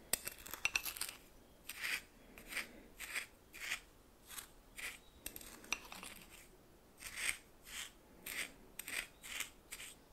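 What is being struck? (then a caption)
Coarse salt crystals in a small bowl. A red plastic spoon held in the fingers stirs and scrapes a pile of white coarse salt in a small bowl that appears to be glass. It makes repeated short, dry, scratchy scrapes of crystals, mostly bright and high with almost no low end. Sharp crackles come first, then a steady rhythm of separate scraping strokes with quiet gaps between them.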